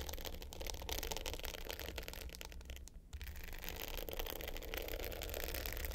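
Long pointed nails scratch the dark blue glitter top of a small rectangular hollow hard-case clutch with a gold metal frame, lying flat. A steady, dense rasping scrape with a low hollow hum underneath continues throughout, dipping briefly to near quiet around the third second before resuming.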